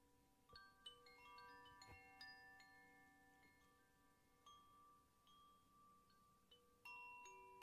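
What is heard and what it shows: A hollow bamboo koshi wind chime, about 15 cm long, hangs by its cord from the fingertips and is shaken or swayed so its internal rods strike and ring. Irregular, bright metallic strikes, centered around 3 kHz, layer into overlapping chime tones that sustain for a couple of seconds each. The result is a continuous, shimmering wash of ringing notes.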